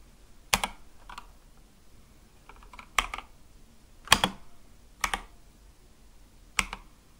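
Slow, single fingertip presses on a compact Akko mechanical keyboard with white and light-blue plastic keycaps on a dark case, resting on a desk. Each press gives a short, sharp, bright clack, often followed by a softer release click. The presses are spaced unevenly, with quiet gaps between them.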